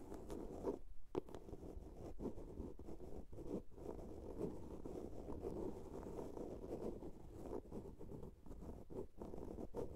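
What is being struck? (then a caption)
Small plastic soap box. A small hollow blue plastic soap case is scratched along its sides with long nails. The result is a continuous, dense scratching and rasping with a low, muffled body around the midrange and almost no high content. Brief gaps break the sound up throughout.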